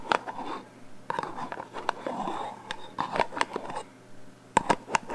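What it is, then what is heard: Metal aerosol can tapped and scratched with fingernails. A black metal aerosol hairspray can with a plastic cap, hollow and held horizontally, is tapped and scratched on its metal body with long painted fingernails. Quick, sharp nail taps ring briefly with a hollow tone near 900 Hz, mixed with soft scratching and scraping in between. The taps come in bursts separated by quieter pauses.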